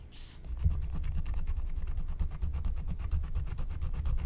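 A wooden stylus held in the fingers scratches the black wax coating of a flat, thin scratch-art card. After a short bright hiss, a steady run of quick, rhythmic scratching strokes follows, each with a dry, bright rasp over a dull, low rumble.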